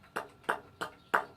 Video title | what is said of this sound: Livestream Lesson #19 - The Rock Cycle | if I tap it on the cement listen to this it's super super light it doesn't make hardly any noise at all